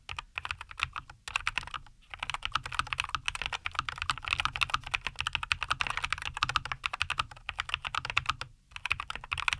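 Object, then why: Mechanical keyboard with plastic keycaps. A compact 75% NuPhy Air75 V2 mechanical keyboard, with a white case, green and white plastic keycaps and linear Cowberry switches, sits on a wooden desk and is typed on continuously with the fingertips of both hands. It gives a rapid stream of short, crisp, bright clacks centered around 2.7 kHz, with brief pauses near 2 seconds and 8.5 seconds.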